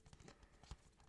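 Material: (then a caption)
Steel. A steel DVD/Blu-ray case for the film Only Yesterday is tapped repeatedly. The taps are soft, dull and low, with almost no ring and little high-frequency sparkle. A heavier thud lands near the middle and another at the end.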